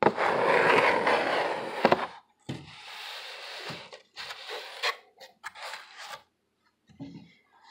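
A hollow corrugated cardboard box is held in both hands while fingernails scratch its ribbed surface, making a loud, dense, papery rasp that is brightest in the upper mids. After a sharp tap, shorter bursts of scratching follow with brief pauses between them. After a near-silent gap, a soft low thud sounds as the box is stood on its edge.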